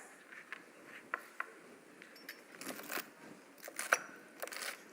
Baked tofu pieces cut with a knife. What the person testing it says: Hear how crispy they are. Wow, they are extra crispy today.